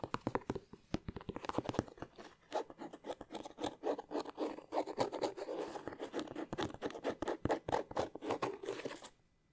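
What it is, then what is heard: Leather sneaker. Fingernails scratch and tap the leather upper of an empty white leather Air Force 1 sneaker with a blue swoosh, held in both hands. Dense, rapid, crisp ticking taps and short scratchy strokes run steadily for about nine seconds, then stop, leaving a brief quiet tail.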